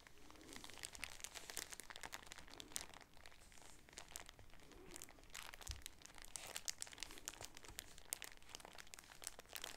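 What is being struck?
Shower curtain in a thin plastic bag.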